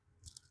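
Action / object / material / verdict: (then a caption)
tap / ice layer on pavement / ice / none. Ice on the frozen ground of a walkway is tapped, giving two short, crunchy hits with bright high-frequency crackle and a low thud, each dying away almost instantly. The ground is iced over, and the ice is hard to see and can make people slip.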